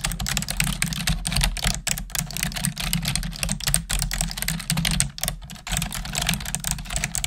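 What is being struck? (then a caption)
Plastic computer keyboard. Long nails and fingertips type steadily on the keys of a black plastic desktop keyboard. A dense stream of bright, short clicks and clacks rides over a constant low hum, with a few brief pauses between bursts of typing.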